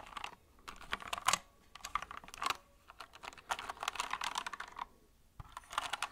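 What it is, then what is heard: Plastic mechanical keyboard. Fingertips and nails tap the plastic keycaps of a compact white mechanical keyboard, held at an angle and then flat in front of the mic. The result is bursts of quick, bright clicky typing around 1 kHz, broken by short pauses, with each keystroke dying away almost instantly.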